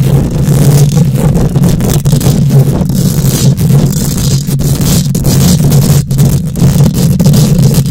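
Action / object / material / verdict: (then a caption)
scrape / steel mesh microphone grille / steel mesh / none. Long nails scratch the hollow steel mesh grille of a microphone, producing a loud, continuous rasping rumble. The sound is heavy in the low end with a steady hum near 120 Hz. Brief high scraping flicks cut through over the constant low rumble.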